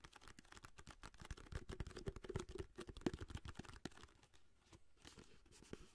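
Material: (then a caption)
Cardboard. Long nails scratch and tap along the length of a long orange cardboard aluminum foil box held in the hands, sometimes moving fast. Dense, uneven dry taps and scrapes with a low cardboard thump under a faint bright rasp, thinning to lighter scratching toward the end.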